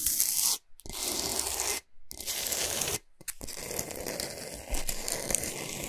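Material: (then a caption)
Rock salt. Long nails scratch quickly over a large, flat, solid pink Himalayan salt block, making bright, gritty rasping and tearing strokes. The scratching comes in bursts broken by brief silent pauses.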